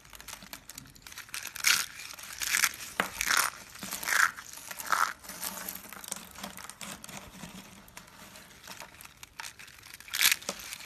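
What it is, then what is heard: Dry soap curls, crunchy. Small hollow blue and yellow striped dry soap curls are crushed in the hand with the fingertips into flakes. The result is a dry, bright crunching and crinkling, with irregular bursts of crackle that flare loudest in a few spots.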